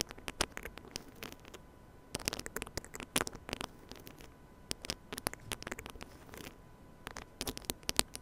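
Fingertips and nails scratch the head and grille of a small silver metal mini microphone on a stand, held close. The result is dense, crackly scratching and patter with sharp bright clicks, all at a quiet level, with short pauses between bursts. A faint steady tone hums underneath.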